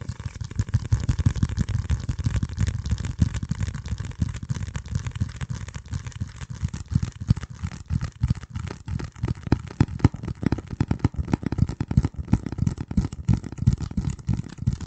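A flat, hand-sized piece of dark corrugated cardboard with its fluted edge showing is held close to a microphone and scratched and tapped with the fingertips of both hands. The result is a steady stream of soft, low, muffled thumps and rustling scratches with almost no bright content.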